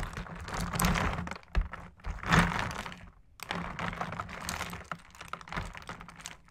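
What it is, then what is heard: Ice cubes in fizzy soda tapped with metal sticks. Two metal sticks repeatedly tap and jab ice cubes floating in carbonated Sprite inside a clear plastic tub. The result is a dense, irregular run of short clinking knocks with low thuds over a faint background fizz.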